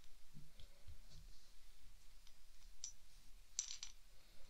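A small clear glass test tube, corked and partly filled with green beads, is held in both hands and shaken and tilted so the beads rattle inside. Quiet, low handling rumble and soft clicks lead up to a few short, bright glassy clinks near the end.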